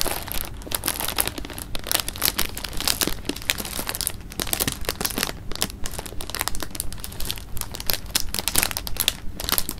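A clear plastic bag of jelly beans is held in the hands while the fingers crinkle it and shift the beans inside. The clip is a dense, irregular stream of bright plastic crinkles and soft crunchy rustles, with a steady low rumble underneath.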